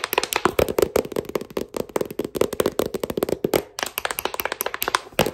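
Fingers wearing metal thimbles rapidly tap the glossy cover and spine of a solid, thick paperback novel. The result is a quick, uneven run of short, dry clicks with a hollow mid-pitched knock around 400 Hz and almost no ring. There is a brief pause just before the last second and a half.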